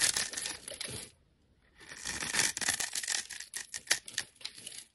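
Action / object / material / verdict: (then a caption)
scrape / bar of soap / soap / none. A blade shaves and chips flakes from a solid, embossed orange-pink soap bar held in the hand, making bright, dry scraping and crackling sounds. The scraping runs in bursts, stops briefly for a moment of near-silence, then resumes with a series of short, sharp scrapes.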